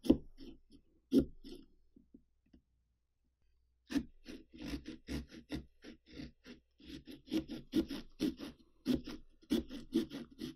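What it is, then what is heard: Pumpkin rind being sawn. A small serrated carving saw with an orange handle saws and scratches through the rind of a large hollow orange pumpkin, held flat with one hand, along the outline of an eye. Short, dry rasping strokes come in quick bursts with a body around 300 Hz and faint bright edges. After a brief pause of about a second and a half, the sawing resumes in a steady, rhythmic run until the end.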